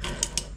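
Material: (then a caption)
Steel. A worn steel crankshaft bearing on the crank of a Polaris SLT 750 jetski engine, removed during teardown, is shaken by hand and rattles loosely. Short, bright metallic clicks ring out over a low background rumble. The loose bearing is bad and is the source of the metal debris found in the engine.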